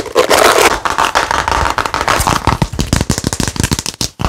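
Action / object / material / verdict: tap / thin plastic drinking-water bottle / plastic / none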